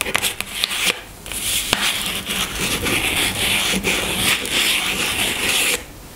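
Long nails tap and scratch the top of a small pink cardboard product box resting on a table. A few quick, sharp taps come first, then a steady, bright, papery scratching that continues for several seconds before stopping abruptly.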